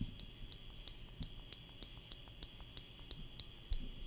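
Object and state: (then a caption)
Wooden clothespin clicking. A small wooden spring clothespin with a metal spring is held in the fingertips close to the microphone and squeezed open and shut, making 12 short, bright clicks at an even pace. A steady tone near 3 kHz and a low rumble run underneath, with a heavier low thump near the end.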